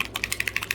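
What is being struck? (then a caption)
Plastic paint bottle with internal agitator ball. A plastic paint bottle with an internal mixing agitator is shaken vigorously so the agitator mixes the contents, since the paint must be properly mixed before it works. Nine quick, bright clicks rattle out in a steady rhythm, each one short and sharp with almost no low end.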